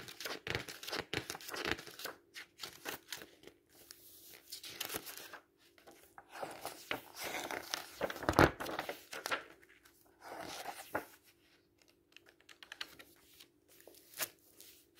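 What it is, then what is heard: Paperback book pages being turned. The paper pages of an open paperback book are bent and turned while fingertips rub down the page. Crisp, crinkling paper rustles and brief tearing-like swipes come in quick bursts over a faint steady hum, with one sharper snap near the middle.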